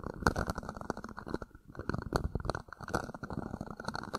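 An empty, hollow, thin-walled red plastic party cup sits upside down over the top of a microphone grille while fingertips and nails scratch and rub its sides. The result is a dense run of close, crackly scratches and soft hollow thumps, full and muffled in the lows and mids with very little brightness.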